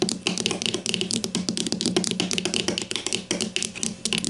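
Long matte mauve nails tap with their tips on the top surface of a hollow grey-green plastic deodorant stick lying on its side on a white table. A rapid, steady run of sharp, typing-like clicks plays throughout, bright on top with a hollow plastic body around 355 Hz. Each click dies almost instantly.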